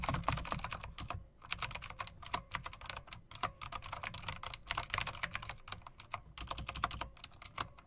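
Long-nailed fingers tap and type on a typewriter-style mechanical keyboard with round plastic keycaps and metal rims. A rapid, uneven stream of sharp, bright clicks with short, dry decays, a few brief pauses, and a soft low thump beneath the keystrokes.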